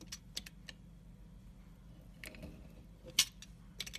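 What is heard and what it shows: A pointed scoring tool cuts lengthwise grooves into a solid, dark brown stamped soap bar held in the hand. It makes short, crisp, bright scratching clicks that decay almost instantly, with the loudest scrape near the three-second mark. A faint low hum sits underneath.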